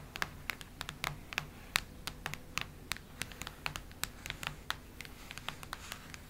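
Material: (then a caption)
Cardboard. Long red nails scratch across the cardboard cover of a cactus-print hardcover notebook. Rapid, dry, bright scratching clicks and ticks follow one another in an uneven, steady stream over a faint low hum, each sound stopping almost instantly.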